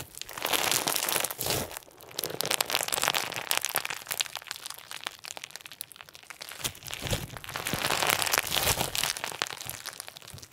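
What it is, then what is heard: Clear slime with plastic sequins. Pink and white clear slime with plastic sequins is held in the hands and squeezed and pulled with the fingers and thumbs. It gives a dense, bright crinkling crunch of rapid, irregular crackles that swell and fade in waves.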